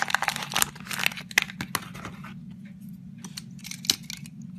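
A metal razor blade carves and scrapes shavings off a solid white Safeguard bar soap with an embossed logo, held in the hand. Crisp, bright scraping and crunching strokes come in quick bursts, dense and loud for the first two seconds before thinning into softer scrapes with one sharp cut near the end. A faint, steady low hum sits underneath.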